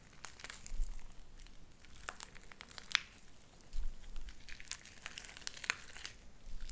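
Light-blue sticky slime with white beads is kneaded and squished with fingers and nails, then stretched into thin strings. Soft wet crackles and sharp bright pops come in scattered bursts over a low rumble, with two sharper snaps standing out.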